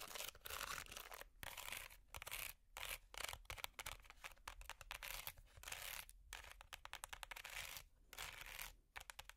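Long metal finger picks scratch a small, hollow, empty woven wicker basket. The result is a quiet, dry, bright rasping made of rapid crackles in irregular bursts separated by brief pauses.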